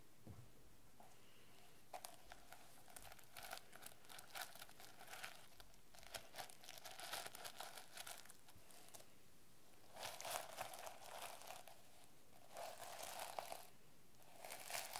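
Long painted nails scratch and rub the teal-and-yellow plastic sequin cover of a medium, solid notebook with a banana design. Quiet, dense bursts of bright crinkly rustling and clicking come in irregular clusters, with a faint ringing mid tone under the scraping and short pauses between strokes.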